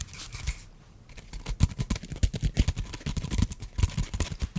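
A small, flat, solid light-brown wooden piece, held horizontally, is scratched and tapped with fingertips and nails. Bright, dry scratching opens the clip and falls briefly quiet, then a rapid, uneven run of soft, low, dull knocks follows, mixed with light scraping. Each knock dies away almost instantly.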